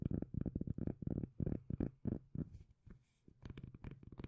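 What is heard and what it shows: A palm-size, solid, round cork lid is held in one hand while the long nails of the other hand scratch and tap its face. The result is a quick, uneven run of low, bassy, dull taps and scratchy rubs with almost no ring, a brief quieter gap near the middle, then more tapping.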